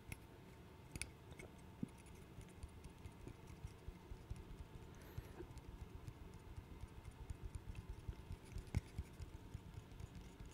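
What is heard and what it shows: A small interlocking burr puzzle of solid light wood is held in the hands and tapped and scratched with the fingernails. Soft, dry clicks and light scratches sit over a quiet, low rumbling background, with a few sharper taps standing out. The taps are brief and die away almost at once.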